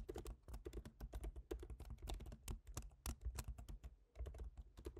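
Fingertips of both hands type on the black plastic low-profile keyboard of a silver aluminium MacBook Pro, making a steady stream of repeated light taps. Each short, crisp click decays almost at once, with a soft low thump under a faint bright tick, and the quiet typing runs without pause through the clip.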